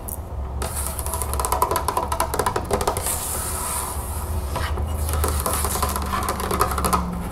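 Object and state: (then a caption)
Empty glass jar tapped with nails. An empty, medium-sized clear embossed glass mason jar with a hollow open top is held and tapped all over with long acrylic nails, then set down on the table and tapped with the nails again, with a paper straw lying aside. Quick, clicky nail taps run in rapid bursts, each giving a short, bright glassy ring over a steady low hum.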